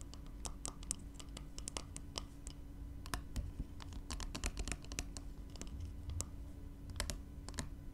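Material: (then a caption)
Glass. Long nails tap and scratch the glass body of a small glass spray bottle filled with yellow liquid, lying on its side. Quick, bright, clicky taps come in an irregular stream, mixed with light scratching over a steady low hum.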